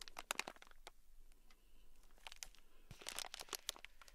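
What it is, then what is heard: Plastic bag of beads, full. A small sealed clear plastic bag, full of tiny gold beads and held in a palm, is scratched with a thin black stick. The result is quiet, dense crinkling and scratching with sharp, bright clicks scattered throughout.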